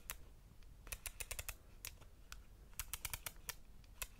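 Fingertips tap and click around the ridged rings of a compact camera's silver metal lens barrel. Nineteen short, dry, bright clicks arrive in irregular clusters and die away almost instantly. A low rumble sits underneath throughout.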